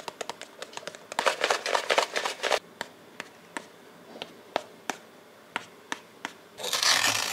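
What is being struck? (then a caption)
Brush on pressed powder eyeshadow in a plastic palette. A makeup brush with a metal ferrule is rubbed and swirled on one shimmery pan of solid pressed powder in a small yellow plastic eyeshadow palette with six pans. A dense burst of dry, bright scratching and brushing is followed by sparse, sharp little taps and clicks over a quiet background, ending in another stretch of hissy rubbing.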